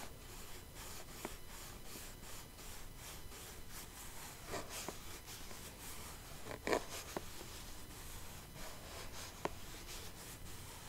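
Long nails scratch and rub across the top of a small clear plastic box full of rhinestones, making a steady, soft scraping hiss. Two sharper clicks stand out, one near the middle and one toward the end.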